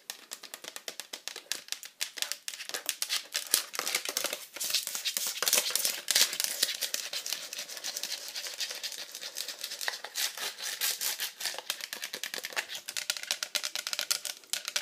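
Long nails tap rapidly on the flat back and frame of an empty pink hard-plastic iPad cover, held up with rings on the fingers. The result is a dense, steady stream of sharp, bright plastic clicks with almost no low end and very short decay.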